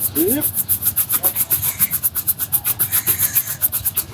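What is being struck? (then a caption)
Leather boot brushed with a bristle shoe brush. A bristle shoe brush held by hand is swept quickly back and forth across the upper of a black leather Dr Martens boot worn on the foot. It makes a fast, steady run of bright, hissy brushing strokes, each rising and falling evenly. Faint traffic may be audible underneath.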